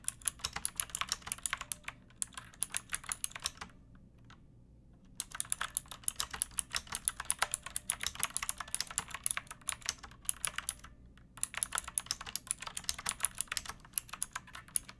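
Long acrylic nails and fingertips type steadily on a backlit pink mechanical keyboard with round plastic typewriter-style keycaps and a hollow plastic case. The keys give sharp, bright, clacky clicks that stop almost at once, in quick runs broken by short pauses around 4 to 5 seconds and 10 to 11 seconds.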